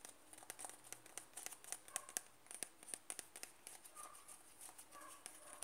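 A closed white plastic Nivea cream jar, 100 g, is turned in the hands while fingernails tap and scratch its side wall. Quiet, crisp, bright clicks come in an irregular quick series, mixed with soft scratchy rustling between them.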